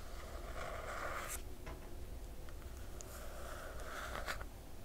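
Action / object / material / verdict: scrape / glossy paper dust jacket on a hardcover book / coated paper / none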